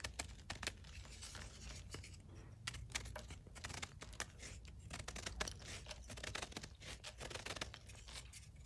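A ceramic knife carves and scrapes flakes off the edge of a solid blue-dyed gym chalk block held in the hand. The scraping is continuous and brittle, with quick bright crackling strokes over a steady low hum.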